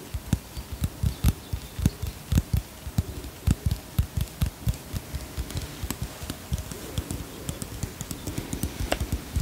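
A small white plastic bottle with a printed label, held in one hand, is tapped and scratched with long fingernails. About thirty short, dull, low-pitched taps come in an uneven rhythm, with soft scratching rustle between them.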